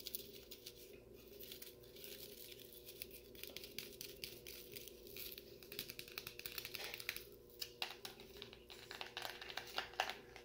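Fingertips tap and scratch the side of a clear plastic McDonald's-style cup with a label, full of frozen cola slush, held in one hand. The result is a quiet, steady stream of bright, crinkly scratches and short dry taps. Faint constant tones sit underneath, with a few sharper taps standing out toward the end.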